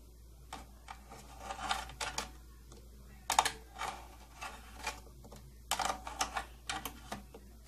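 Long painted nails tap on the front panel of a closed, medium-sized, hollow purple plastic tattoo kit case with silver trim and a silver latch. An irregular series of light, crisp clicks with a hollow midrange tone sounds briefly over a faint steady hum.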